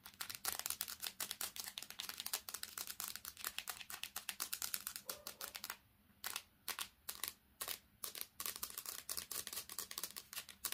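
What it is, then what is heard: Smartphone tapped with fingernails on glass and metal. Long painted nails tap fast and hard on the glass screen and metal edges of a smartphone with a metal back, held in both hands. The result is a dense stream of sharp, bright clicks with almost no low end. Around the middle the taps thin out into a slower, spaced-out pattern before speeding up again.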